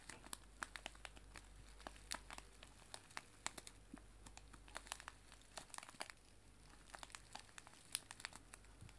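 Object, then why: Cellophane bag of loose dried tea. A small, clear, crinkly cellophane bag filled with dried loose tea is held in both hands and crinkled and squeezed with fingertips and nails. This produces a quiet, steady stream of sharp, bright crackles and snaps over a faint low hum, with each crinkle dying away instantly.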